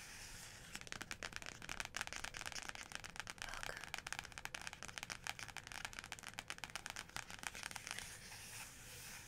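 Fingertips and long nails tap and trace across the large, flat, stained printed cover of a photography book lying on a fluffy rug. Rapid, dry, bright clicks and scratchy rustles come in dense bursts over a faint steady hiss. Each tick dies away almost instantly, and the sound stays quiet throughout.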